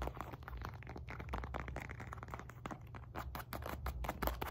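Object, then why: Synthetic leather medicine ball. A solid red and white stitched synthetic leather medicine ball, 4-5 lb, is rotated in the hands while fingernails tap and scratch its panels. The result is a rapid, steady stream of dry, short clicks and scratchy rasps over a low rumble, with little ring.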